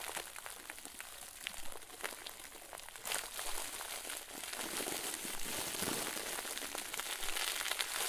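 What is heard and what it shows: A round white plastic bag full of soft, fluffy stuffing is squeezed and crumpled with both hands. It gives dense, irregular, bright crinkling and crackling that grows busier and louder after about three seconds and stays full to the end.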